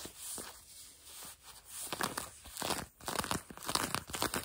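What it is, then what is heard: Denim jeans fabric being scratched. Long nails scratch grey-blue denim jeans stretched over a knee, producing dry, rasping scrapes with a bright, papery texture. The strokes start soft and sparse, then grow louder and quicker in an uneven rhythm of short scratchy bursts.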